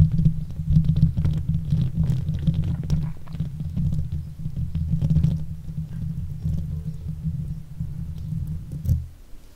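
Long nails and fingertips of both hands scratch and rub the hollow metal wire-mesh head of a silver Blue Yeti microphone. The result is a close, continuous low rumbling scrape, dense with quick irregular strokes. It swells briefly near the end, then fades.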